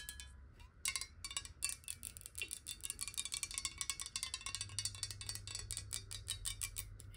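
A clear glass bottle partly filled with water, first upright and then held sideways, is tapped rapidly with long nails. The taps give a quick run of short, bright, ringing clicks with a glassy high tone that fades almost at once, over a faint steady low hum.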